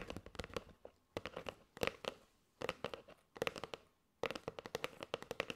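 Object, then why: Cardboard box full of paper straws. Long nails tap rapidly on the surface and edge of a kraft cardboard box with a plastic window, full of paper straws. The crisp, dry taps come in quick bursts separated by brief pauses, each with a hollow mid tone and a bright click that dies away almost instantly.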